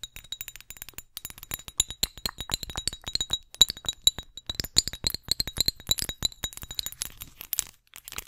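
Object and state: Glass perfume bottle tapped with nails.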